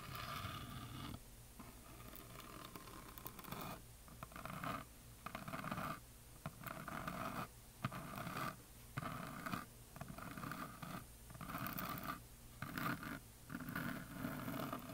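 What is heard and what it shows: Fingernails scratch across the glitter-painted surface of a solid painted wooden heart plaque, producing soft, dry scraping strokes in uneven bursts with brief quiet gaps between them. The scratching has a low, rough body and a faint brighter rasp.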